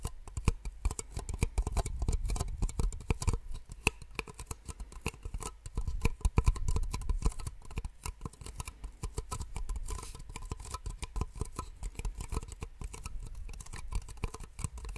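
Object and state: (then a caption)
Plastic cups tapped with nails. Two identical small, empty, hollow white plastic cups, held upside down, are tapped with long nails close to the microphone. The result is a dense, fast patter of short, dry clicks that die away almost instantly, carried by a strong low thump. The tapping comes in uneven bursts across the fifteen seconds.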